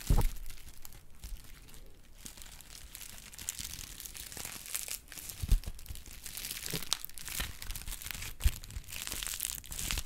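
A small pad of brown honeycomb kraft paper wrap is pinched and crinkled with the fingers. The result is a steady, bright crinkling and crackling, with a few louder sharp snaps near the start, middle and later on.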